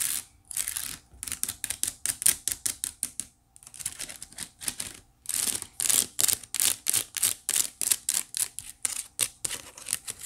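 Long nails quickly scratch the weave of a hollow white woven wicker basket. The result is a rapid run of dry, bright, raspy strokes with almost no low end, broken by two short pauses.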